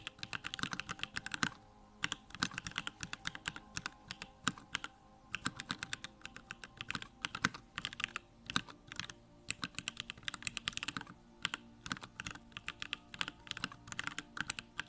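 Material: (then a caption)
Plastic. Fingertips type continuously on a Bakeneko65 compact 65% mechanical keyboard with a pink case, plastic keycaps and Durock lavender switches. Quick, bright, clacky keystrokes come in rapid bursts separated by brief pauses, each press short and dry with almost no ring.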